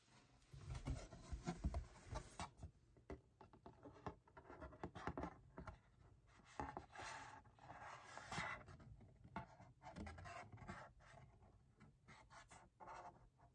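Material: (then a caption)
Cardboard. Fingertips and nails scratch and rub across the surface of a small, hollow, printed cardboard Youtooz box. Quiet, dry scraping and rustling bursts come in quick irregular strokes, with dull hollow low-end thumps from the box body. Each sound dies away almost instantly, leaving no ring.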